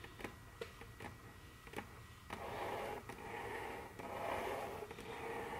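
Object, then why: Wooden tabletop. Very long curved fingernails tap and click rapidly on a large, solid, dark brown glossy wooden tabletop. Several sharp, separate clicks come first. From a little past two seconds, a sustained raspy texture takes over, with occasional clicks still cutting through.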